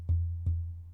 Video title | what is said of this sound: Is This The Best BUDGET Microphone Under $100? - Fifine K688 Dynamic XLR USB | it resonates through the audio